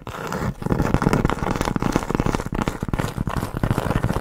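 Long nails tap and scratch quickly across the rough surface of a large, round, flat, solid cork board trivet held in the hand. The result is a dense, continuous run of short, dry, scratchy taps that sound mostly low and muffled, with little bright edge and almost no ring after each hit.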